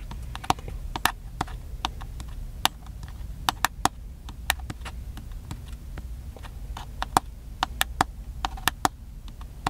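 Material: Plastic.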